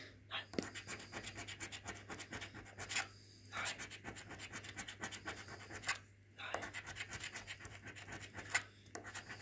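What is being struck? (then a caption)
Paper lottery scratchcard scraped with a coin edge. A coin edge is scraped repeatedly across the PRIZE panels of a thin, flat red printed paper lottery scratchcard with a scratch-off coating, which lies on a wooden table and is held by fingers. Quick, dry, bright scratching strokes come in bursts, broken by a few short pauses, over a faint steady low hum.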